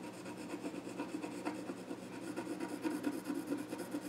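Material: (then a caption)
Wood. A pencil scratches drawing strokes across the flat top of a small wooden child's stool. It makes a steady, quiet, raspy rubbing with loosely rhythmic stroke swells and a faint hollow midrange tone from the wood.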